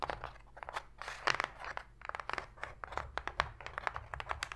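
Long pink fingernails tap quickly on and scratch the floor of an empty, open white cardboard box tray, which sounds hollow. Rapid, dry, clicky taps mix with brief papery scraping rasps that are bright and crinkly. Each tap dies away almost instantly.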